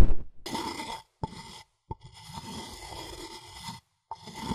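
A wooden pestle is scraped and ground around inside a light, hollow, empty wooden mortar with groove rings, held in one hand. It makes soft, low, rumbling scraping strokes broken by brief silent pauses, with a faint steady ringing tone running under the grinding.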